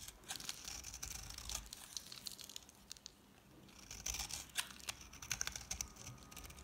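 A solid, palm-sized green bar of dry soap, mostly carved away, is held in the hand and shaved repeatedly with a metal utility knife blade into thin flakes. The shaving makes bright, dry, crisp scraping and crackling with many short, sharp ticks. There is a brief quieter pause in the middle before the shaving resumes.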